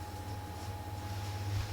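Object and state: Nothing is struck.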